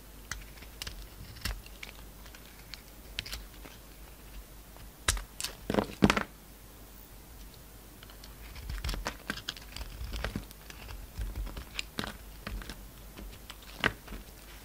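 A utility knife shaves curls off a hand-sized, solid pink and white bar of soap with brown glitter edges, held in the hand. Quiet, crisp scraping and crinkly cutting strokes come in irregular bursts, loudest around the middle of the clip and again toward the end, over a low hush.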